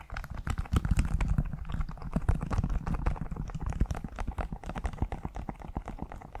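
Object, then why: Leather high-heel shoe. A single black leather (or faux leather) stiletto pump, hollow and empty, is held in both hands over the mic while fingertips and short nails tap and scratch its smooth outer surface. The result is a fast, steady stream of dull, dry, bassy taps with soft scratching in between, each tap dying away almost at once.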